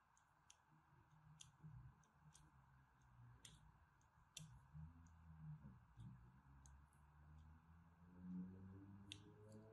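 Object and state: Bar of soap.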